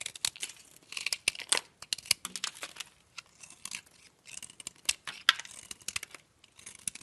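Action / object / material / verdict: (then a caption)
scrape / soap bar scraped with a metal blade / soap / none. A metal blade scrapes and crumbles powdery shavings off a solid, partly carved green oval soap bar. The sound is a bright, dry crunching and crackling, with quick bursts of scraping in dense clusters separated by brief pauses. Each crunch cuts off sharply with almost no ring and no low-end weight.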